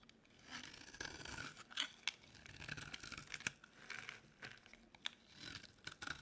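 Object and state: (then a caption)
Dry soap bar being scraped. A utility knife blade scrapes a dry, solid pink oval soap bar into flaky shavings. Soft, bright scraping and crisp tearing strokes come in waves, punctuated by sharp little clicks and crunches as the flakes break away.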